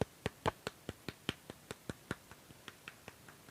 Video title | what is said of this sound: UNBOXING REDMI NOTE 10 4G 4/64 MANTAB!!! | plastik ini kalau diketok bunyinya seperti ini